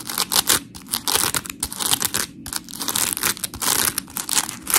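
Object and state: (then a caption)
Dry polymer foam sponge being scratched and squeezed. Long pink nails scratch a dry, white, hand-sized smiley-face scrub sponge of coarse, porous polymer foam with cut-out eyes, while fingers squeeze it. The result is a steady run of gritty, bright, crackling scratches and crinkly squishes in short, uneven bursts, with little low end and no ring after each stroke.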